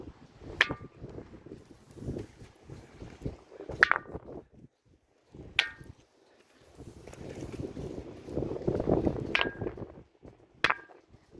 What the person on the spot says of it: It's called the ringing stone.